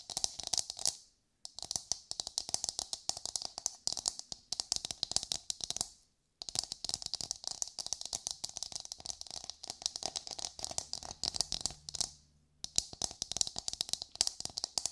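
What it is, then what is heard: Coconut shell half tapped and scratched with nails. Long nails tap and scratch a hollow, brown, fibrous coconut shell half held in both hands. They make rapid, dense, bright clicking with a faint hollow midrange tone. The clicks come in three bursts with two short silent gaps, and each tap dies away almost instantly.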